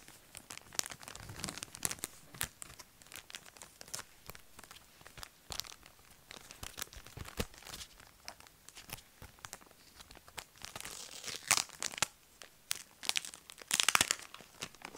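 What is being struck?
Rhinestone sticker card in a thin plastic sleeve.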